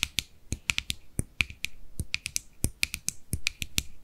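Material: Plastic.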